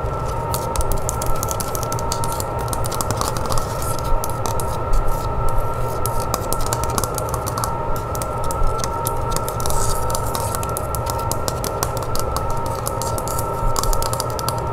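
Long nails tap and scratch quickly across the cream painted back of a wooden hand mirror in close-up. The result is a dense, continuous run of small bright clicks and scrapes over a steady low hum, with faint sustained tones near 900 Hz and 1.3 kHz.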